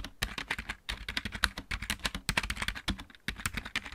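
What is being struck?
Plastic mechanical keyboard.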